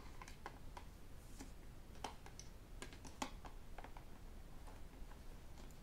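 Fingertips and metal rings tap the body of a hollow white plastic sports water bottle with a black cap, held in both hands. The result is an irregular run of quick, dry, bright clicks and ticks that die away at once, over a quiet low rumble.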